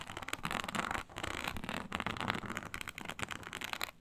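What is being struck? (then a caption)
Textured synthetic leather sheet scratched with nails. Long nails on clawed hands scratch a flat, iridescent, snake-scale synthetic leather mat. The strokes come as rapid, dry, crackling bursts, bright and broadband, with brief pauses between runs of scratching.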